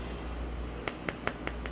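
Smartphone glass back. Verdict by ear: Solid.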